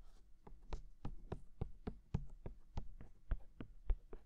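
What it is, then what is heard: Silicone microphone ears tapped. Fingertips tap on the white silicone ears of a binaural microphone, with hands on both sides. About 14 soft, dull taps land at an uneven pace, each a short, deep thump with almost no ring.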